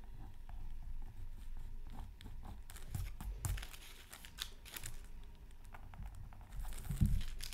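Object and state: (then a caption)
Scratch art card being scratched. A bamboo scratching stick held in the fingers scratches lines into a thin, solid, flat black-coated scratch art card over a colored layer, from a Mythical Creatures Super Scratch Art Pad, lying on a silicone mat. Quiet, dry scratching and crinkly strokes come in irregular bursts, mostly low and thumpy with brief bright scrapes, and the loudest stroke lands near the end.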